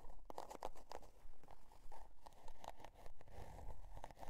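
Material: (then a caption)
Cardboard. Long dark nails scratch the scale-pattern cardboard cover of a spiral-bound notebook, and the notebook is tilted toward the end of the stretch. Quick, fairly regular dry scratching strokes crackle and crunch like tearing paper, over a faint low rumble.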